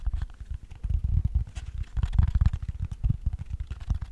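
A long, hollow cork tray is turned in the hands while fingertips tap the cork on its inside and underside. The result is a rapid, uneven string of soft, dull thumps that are deep and muffled, with almost no brightness, and each one dies away almost instantly.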